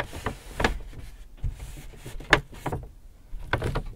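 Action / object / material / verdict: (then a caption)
tap / empty paper shopping bag / paper / none. Hands tap and scratch the sides of an empty white Hudson's Bay paper shopping bag. Six soft, papery taps, each with a dull low thump, stand out from quieter crisp scratching and crinkling. The sharpest tap lands just past the middle.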